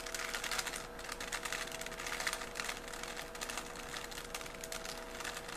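A small, solid 3x3 plastic Rubik's cube is held in both hands while its layers are twisted rapidly with the fingers. The plastic pieces make a dense, continuous run of bright, crisp clicks and rubbing sounds with very short decay, over a faint steady low tone.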